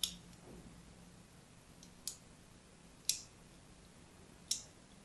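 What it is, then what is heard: Bar of soap being scored with a blade. A thin metal blade tip scratches a crosshatch pattern into the surface of a hand-sized solid purple bar of soap, held by a hand with red nails. Four short, crisp, bright scratching clicks come at irregular intervals and die away almost instantly over a quiet, faint background hiss.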